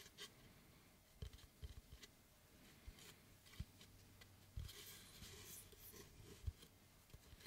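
A large, flat, oval slice of solid wood tree trunk with its bark edge still on is held in both hands and rubbed and tapped with fingertips and nails across its flat face. Quiet, scratchy rubbing with a bright edge runs throughout, broken by short, dry, low knocks that stop almost instantly. A steady low hum swells in the middle of the clip.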